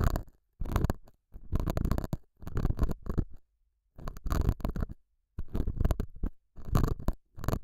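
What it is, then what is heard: Felt pad being scratched. A metal dental scaler hook scratches the surface of a small, solid, square beige felt pad mounted over a small lavalier mic. The result is repeated bursts of dull, muffled, low-heavy scratching and rubbing, separated by short silent pauses.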